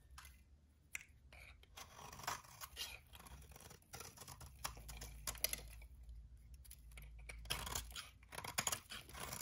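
A metal utility-knife blade shaves and scrapes crispy curls off the surface of a solid rectangular bar of dry white soap held in the hand. The result is a run of dry, bright, crunchy scraping and crackling strokes with very short, clipped decays, over a faint low rumble.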